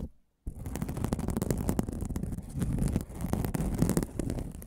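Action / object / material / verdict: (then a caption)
scrape / aluminum mesh scrubbing pad / aluminum / none. A flat, palm-sized pad of silver aluminum mesh scrubbing sponge is held close to the microphone, scratched and rubbed with fingertips and nails, and flexed and turned in the hands. After a brief silence, a dense, continuous crinkling scratch sets in, heavy with low rumble and peppered with sharp crackles. It swells and dips as the mesh is worked.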